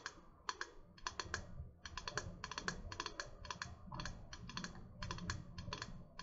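A tall, hollow, metallic gold-pink insulated water bottle with a printed design, held upright, is tapped rapidly with long painted fingernails. The result is a dense run of quick, bright clicking taps with short ringing tails over a soft low hum.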